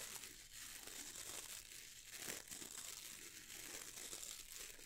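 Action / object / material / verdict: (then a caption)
scrape / bristle brush with wooden handle / bristle / none. Fingertips scratch and strum across the stiff dark bristles of a boar bristle brush with a wooden handle. A soft, steady crinkling scratch rises and falls in gentle swells, mostly bright and hissy with little low end.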